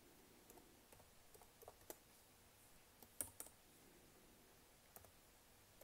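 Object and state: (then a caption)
Plastic laptop keyboard. Long nails and fingertips tap repeatedly on the black plastic keys of a laptop keyboard. The result is quiet, irregular clicks and taps with a bright edge, with a few sharper, louder strikes among softer ones over a low background hiss.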